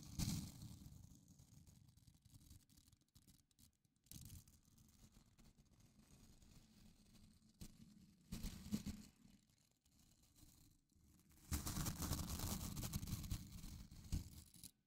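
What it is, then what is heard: Plastic scrub brush with nylon bristles. Fingertips and nails scratch and flick across the dense white nylon bristles of a small handheld blue plastic scrub brush held close to the mic. The result is a dry, rustling crackle that comes in uneven bursts, with louder scratchy stretches near the start, around four and eight seconds, and a long dense burst near the end. Each burst carries a heavy low rumble under a thin, bright hiss.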